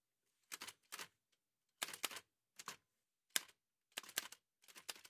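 White satin-gloved fingertips type on a large, heavy, vintage Remington manual typewriter with a dark painted metal body and paper loaded. Crisp, bright key strikes come in short uneven clusters separated by brief silences. Each clack stops almost at once, with no low thump.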